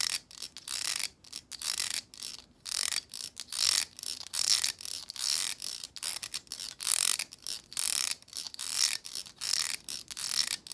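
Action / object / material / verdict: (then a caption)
scrape / plastic vent hair brush with stiff bristles / plastic / none. Long acrylic nails strum and scratch across the stiff plastic bristles of a hand-sized black plastic vent hair brush. The result is a series of quick, dry, bright ratcheting bursts of rapid clicks with no low end, separated by brief pauses in an uneven rhythm.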